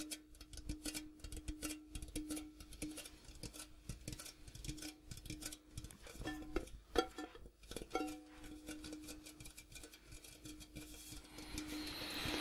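Fingertips and nails tap rapidly on the outer striped wall and rim of a large, empty, hollow metal popcorn tin with a gold interior. The result is a quiet, irregular patter of short, dry clicks over a faint, steady metallic tone, with a few sharper, louder taps near the middle.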